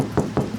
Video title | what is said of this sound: Lakhon Rupay Kharach Kar Ke Hum Ne Liya Teen Ka Daba - Banam Sarkar - 19 Sep 2021 - City 42 | ठोस आवाज आ रही है, ठोस की बिल्कुल ठीक है